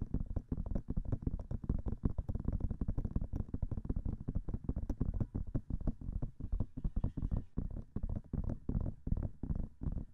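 Long nails tap rapidly on the silicone ears of a binaural microphone, producing a fast, steady stream of soft, muffled thumps. The taps are dull and very short, with their energy concentrated deep in the low end and only faint bright clicks on top.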